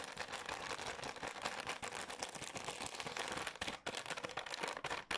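A green Garnier cleansing wipes soft plastic pack, apparently full, is scratched and tapped with long nails and crinkled in the hands and on a table. The result is a dense, bright crackle of quick taps and scratches with almost no low end, pausing briefly near 3.8 and 5.1 seconds.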